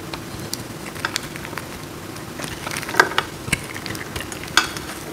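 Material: Soap.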